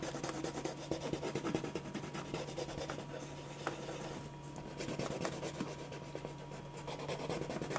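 A grey pen or marker rubs and scratches shading strokes across a thin white paper sheet lying flat on a dark surface, while the other hand steadies the sheet. Soft, continuous scratchy strokes repeat throughout with the same tool, over a faint steady hum.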